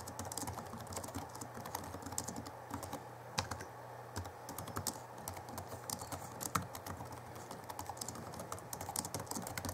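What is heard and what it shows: Fingertips of both hands type rapidly on the backlit chiclet keyboard of a 2011 Alienware M11x2 laptop with plastic keys. The result is a dense stream of short, bright plastic clicks over a steady low hum.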